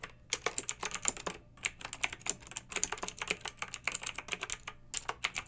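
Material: Plastic.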